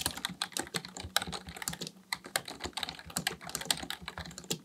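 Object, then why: Plastic computer keyboard. Fingertips of both hands type continuously on a black plastic, full-size Dell KB1421 membrane keyboard with a hollow housing, resting on a desk, pressing and tapping keys. A rapid, uneven stream of short, bright, clacky taps is heard, each dying away almost instantly, with little low-end body.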